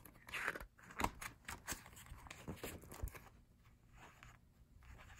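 Fingertips tap on the open pages of a printed paper lyric booklet from a K-pop album, with thin pages and a solid feel. Soft, dry, papery taps and light scratchy brushes come at an uneven pace, each dying away almost at once. The tapping grows quieter and gentler toward the end.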